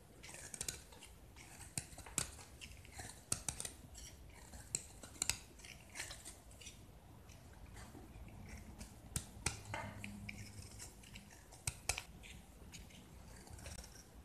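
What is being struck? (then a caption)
Painted gypsum brick. A metal utility knife blade scrapes and carves chunks off a hand-held solid white gypsum brick with an orange and yellow painted face, dropping them onto a pile of crumbs. Soft, gritty scraping runs throughout, broken by sharp, bright cracks and clicks as pieces snap away.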